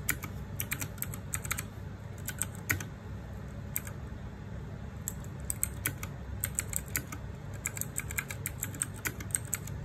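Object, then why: Plastic mechanical keyboard. Fingertips and nails type rapidly on the plastic keycaps of a small RGB-backlit 60% mechanical keyboard. The result is a quick, uneven stream of sharp, bright clicks that die away almost instantly, heard over a steady low rumble.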